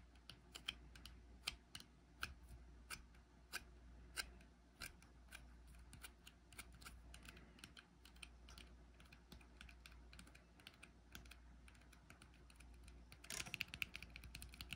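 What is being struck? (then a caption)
Small frosted glass jar with metal lid. Fingertips tap the silver metal lid and rim of a small frosted glass jar held in the hand. The result is a rapid, irregular run of light, bright clicks that die away almost instantly, over a steady low hum. A denser cluster of taps comes near the end.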